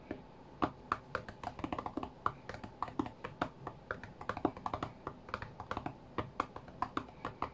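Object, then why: Glass tablet touchscreen. Fingertips of both hands tap quickly and irregularly on the glass touchscreen of a white iPad lying flat on a mat. Each tap is a short, dry, quiet click with almost no ring, centered in the mids with little low or high content.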